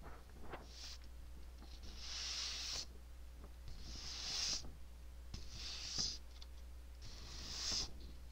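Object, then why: Paper sheet scratched and tapped with fingernails. Long nails scratch and tap across a single white hole-punched sheet of paper held up in one hand close to the microphone. Bright, hissy scratching rises and fades in repeated swells, punctuated by short dry taps over a steady low hum.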